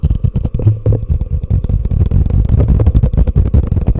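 A hollow, empty orange plastic cup sits upside down over a microphone and is tapped and scratched quickly with long painted nails and fingertips. The result is a dense, fast flurry of muffled, boomy thumps and scrapes, almost entirely deep and low with a rumbling body and no bright edge.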